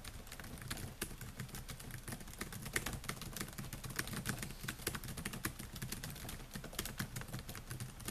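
Fingertips type continuously on the plastic keys of a silver Dell laptop with a metal and plastic body, producing a rapid stream of short, crisp taps. Each tap is a sharp, bright click that dies away almost instantly, over a steady low rumble.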